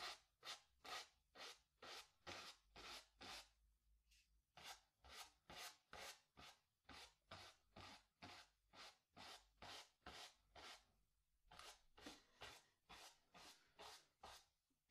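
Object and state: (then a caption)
Brush scrubbing paint on stretched canvas. A wooden-handled bristle brush scrubs black paint across a small stretched cotton canvas on a wooden stretcher frame, hollow behind, in 31 repeated strokes. Each stroke is a short, dry, bright rasp that stops quickly, in a fairly steady rhythm of about two strokes per second, with brief pauses near 4 and 11.5 seconds.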